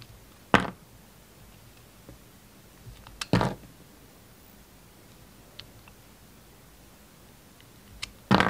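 A small, solid pink bar of soap with a purple glitter edge is held in one hand and cut with a utility knife blade. Three short, crisp, broadband scraping bursts are heard as the blade shaves through the soap, with faint ticks and quiet pauses between them.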